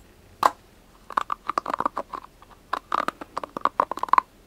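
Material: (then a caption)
Plastic. A round, palm-sized white plastic scalp massage brush with soft prongs has its prongs and body tapped and scratched with short nails and fingertips. The result is a quick, irregular run of dry, crisp clicks and taps with a mid-pitched hollow tone and almost no ring. One isolated tap comes first, then clustered bursts follow.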